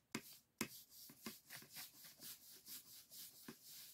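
A soft makeup brush is rubbed and swept across the thin bamboo ribs and white painted paper of an open folding fan lying flat. Quiet, bright, airy swishes repeat at roughly two per second, with three sharper ticks near the start as the brush catches the ribs.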